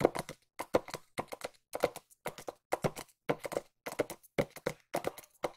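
Long nails tap quickly on a small white cardboard watch box held in both hands. The taps come in short galloping bursts of a few clicks each, separated by brief silences. Each tap is dry and hollow with a mid-range knock and no ring.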